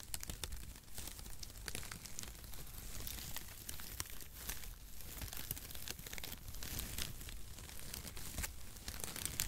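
A flat bundle of zigzag cardboard packaging shreds is held in both hands over the microphone while fingertips crumple and rub the strands. The result is a steady, dense crinkling and rustling with bright, sharp crackles scattered throughout over a soft low rumble.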